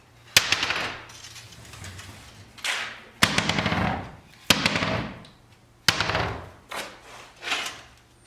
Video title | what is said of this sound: Extending the Life of Old Buggy Wheels - Engels Coach Shop | Tôi có thể thả chúng xuống sàn bê tông vững chắc và nghe xem chúng có vòng chặt với chúng hay không hoặc chúng có tiếng kêu lạch cạch với chúng hay không.